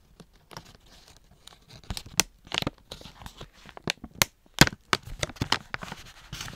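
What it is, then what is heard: Plastic treat pouch being torn open. Fingers with long nails tear the top strip off a Bakers Allsorts plastic pouch full of dog treats, then open its zip to reveal the treats inside. A run of short, sharp, bright tearing and crinkling bursts rises from quiet rustling. Each burst snaps off quickly with almost no ring.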